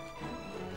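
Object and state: Nothing is struck.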